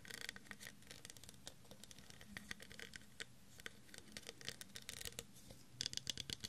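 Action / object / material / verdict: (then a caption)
scrape / ridged plastic cup / plastic / none. Fingernails scratch and tap the ridges of a clear, faceted, textured plastic tumbler, hollow and empty and held in one hand. Quiet, bright, dry clicks and scratchy rasps come in quick irregular bursts, with a denser flurry of sharp taps near the end.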